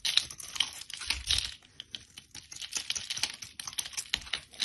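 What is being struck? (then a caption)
Bar of soap. A blade scrapes flakes off the face of a solid rectangular bar of soap, green and orange on the outside with a cream core, held in a hand with long red nails. The result is a quick, uneven run of dry, crisp scratching clicks, bright and high, centered around 3.7 kHz, with almost no low end and no ring after each stroke.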